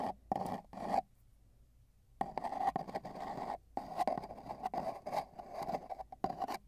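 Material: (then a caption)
Cardboard. Two metal tweezers, one in each hand, tap and scratch along the outer surface of a long, hollow, empty brown cardboard mailing tube with tape bands, which lies on a bedsheet with a microphone inside it. Heard from inside the tube, there are bursts of dry, raspy scratching and quick taps with a hollow, boxy resonance centered around 770 Hz. A near-silent pause comes about a second in, then denser scraping runs to the end.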